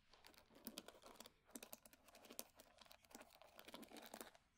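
Long nails scratch the wooden pins of a solid wood hair brush, then tap and scratch its flat wooden back. The result is a quiet, close run of dry, crisp clicks and scratchy rasps with bright high edges and almost no low end. Each tap stops short with no ring.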